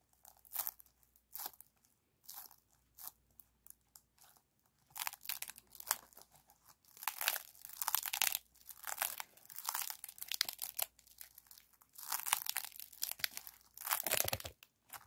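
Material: Aluminum foil.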